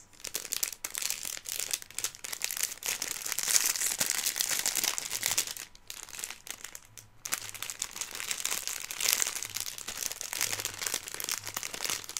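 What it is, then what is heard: Plastic candy wrapper crinkled. Fingers crinkle a shiny plastic-film Airheads candy bag filled with candy and tap it with their nails. Dense, bright crackling and rustling runs throughout, with a brief quieter stretch in the middle before it picks up again. The sound is crisp and high with almost no low end and no lingering ring.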